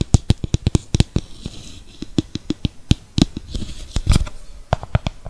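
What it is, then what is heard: Plastic mixing bowl. A small, hollow, translucent plastic mixing bowl, nearly empty with purple face-mask residue inside, is held in both hands near the microphone and tapped with fingertips and nails. The result is a quick, irregular patter of short, dry taps: soft low thumps with bright clicky edges from the nails, each dying away at once with no ring.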